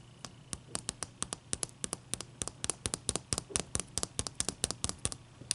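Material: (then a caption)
Ice. A large, clear, solid ice cube resting on a towel is tapped and scratched with long dark-painted nails and fingertips. About thirty sharp, bright clicks come in a quick, uneven patter, each dying away almost at once over a faint low hum.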